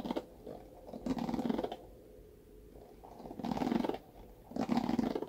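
Fingernails scratch across the dense bristles of a hand-sized, rectangular red plastic paddle hairbrush with a black cushion pad, held by its handle. About four bursts of soft, crunchy, rustling scratches come through, warm and low-mid in tone, with quiet gaps between them.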